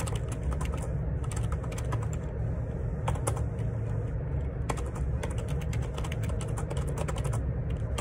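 Fingertips type steadily on the plastic keycaps of a black Perixx Periboard 612 wireless Bluetooth split ergonomic keyboard, its hollow plastic case resting on a desk. Quick, short clicks and clacks keep coming over a constant low rumble, with brief bright ticks standing out.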